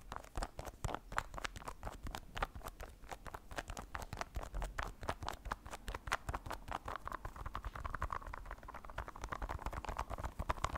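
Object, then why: Candy bar in a plastic wrapper. A long, thin orange candy bar, solid and unopened in its plastic wrapper, is held in the hands and tapped and scratched along its length with the fingernails. A fast, steady stream of short, dry clicks and crinkly scratches runs throughout, centered in the midrange over a faint low rumble.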